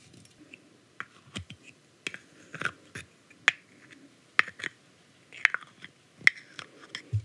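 Long acrylic nails tap and scratch the white plastic cap and body of a grey aluminium aerosol hair spray can. Sharp, dry clicks with bright metallic pings around 2 kHz come at an uneven pace, separated by soft scraping and very little ring.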